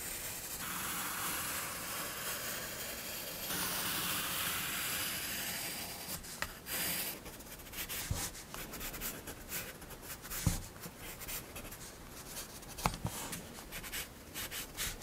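One hand makes small drawing and shading strokes with a graphite pencil on a spiral paper sketchbook lying flat on a desk, rubbing and scratching the lead across the paper. The first half is a steady, bright, hissing rub of continuous shading. It then breaks into irregular short scratchy strokes with a few sharper ticks.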